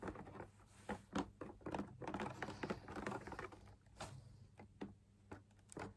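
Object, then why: Fabric-laminated drum lamp shade on a wire frame. Fingertips and nails tap the top edge and outer wall of a hollow drum lamp shade made of perforated fabric laminated on a stiff backing over a wire frame. The result is a quiet, irregular patter of quick, dull, papery taps that die away almost immediately, with a low hollow tone.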